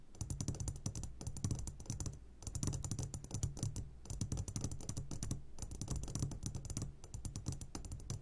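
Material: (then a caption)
Glass. Fingertips tap rapidly on the sides of an upside-down clear glass jar full of hard candies. The result is a dense, steady patter of short, dry clicks with a soft low thump under each tap, broken by brief pauses roughly every one and a half seconds.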